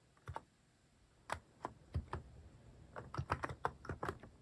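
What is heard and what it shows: Fingertips type on a Hanmumu mechanical keyboard fitted with cat-shaped plastic keycaps. Soft, short, muted clacks with a low thock, scattered at first, then a quicker run of keystrokes near the end.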